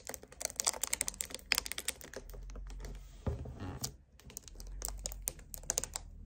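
Fingers and nails grip, squeeze and tap a hollow 1 L white plastic strawberry kefir bottle up close. Quick, bright, dry clicks come in bursts, broken by stretches of softer low rubbing and crinkling as the bottle is squeezed.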